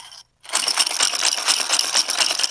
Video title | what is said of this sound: BTL - BASS TALK LIVE with Boyd Duckett | you hear that that's pretty loud